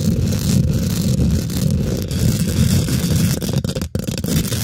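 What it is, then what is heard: Metal mesh microphone grille being scratched and tapped. Long nails and fingertips of both hands quickly scratch and tap the domed, hollow woven metal mesh grille of a large silver condenser microphone. The result is a dense, continuous scraping rumble that is heavy in the low end, with faint brighter crackle on top. Near the end there is a brief dip to near silence before the scratching resumes.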